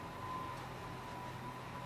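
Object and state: Nothing is struck.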